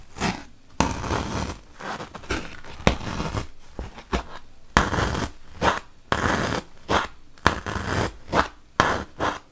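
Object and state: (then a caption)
Melamine foam block being poked. A wooden toothpick is poked repeatedly into a large, solid, white melamine foam magic eraser block. Each poke makes a short, dry, scratchy crunch with a sharp onset, some stretching into brief rasping scrapes. The bursts come in an irregular rhythm with quiet gaps between them.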